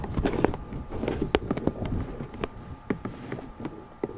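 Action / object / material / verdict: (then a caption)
tap / small lidded cardboard box / cardboard / none. Long nails and fingertips tap a small, hollow, lidded pink cardboard gift box with a ribbon stripe, held in both hands. It gives a quick, irregular series of dry, hollow taps with a muffled low-mid body, little brightness, and no ring after each tap.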